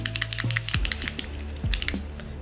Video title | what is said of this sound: لاک رسانا چیه؟ چطوری باهاش کیبرد تلفن و ماشین حساب رو تعمیر میکنن؟ #تعمیرات | تکون بدین که این صدای تق تق رو میشنوین